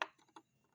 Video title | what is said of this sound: Robot Optimus Prime Bumblebee Terlaris Termurah Yang Diupdate Metal Alloy Tetep TERMURAH Harga Sama | bisa dilihat ini suaranya keras sekali ya